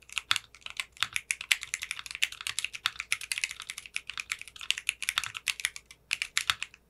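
A mechanical keyboard with clear pink polycarbonate keycaps is typed on with fingertips and short painted nails. The result is a fast, steady stream of short, bright clicks and clacks with almost no low end. Each keystroke dies away quickly.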